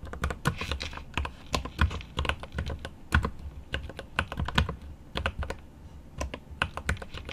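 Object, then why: Mechanical keyboard, plastic keycaps in aluminum case. Right-hand fingertips type on a mechanical keyboard with plastic keycaps and an aluminum case, producing a rapid, irregular stream of key strikes. Each keystroke is a short, dry, low-heavy thock with a bright click on top that dies away almost at once, over a soft background hiss.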